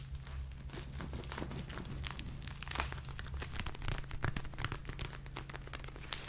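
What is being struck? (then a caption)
Plastic gel-filled eye mask with beads. A hand-sized, thin, flexible purple gel-filled plastic eye mask with beads inside is held in both hands, handled, tapped and scratched with long painted nails. The result is a steady run of close crinkly, squishy plastic sounds with bright, rapid scratches over a constant low hum.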